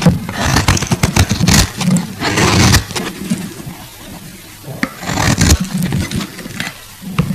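A solid translucent pink glycerin soap bar held in the fingers has its surface scraped with a metal box-cutter blade. Rapid, crackly scrapes come in bursts of bright, crisp texture over a low, dense rumble, with quieter gaps between passes.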